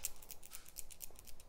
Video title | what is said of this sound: RLM Elite Multi Species Dec 2018 | though it says it's silent on there got a little bit of a rattle little very very subtle rattle